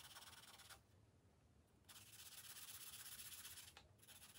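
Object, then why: Felt-tip marker on a thin paper page. A green felt-tip marker rubs steadily back and forth across the thin paper page of an open coloring book resting on a glass table. It makes a bright, hissy, rhythmic scratching that stops for about a second near the start and dips briefly near the end before resuming.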